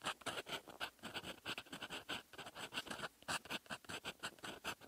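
A silver metal fountain pen nib writes in red ink on a flat sheet of lined writing paper. It makes a quick series of short, dry scratching strokes with bright, high hiss and almost no low end. Each stroke stops abruptly with no ring.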